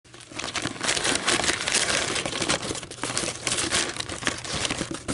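Long, almond-shaped metallic nails scratch and crinkle the ridged sides of a thin, empty, white fluted paper coffee filter shaped like a hollow cup and resting on a table. The result is a continuous, dense, bright papery crackling and rustling with almost no low end, swelling and dipping slightly in loudness throughout.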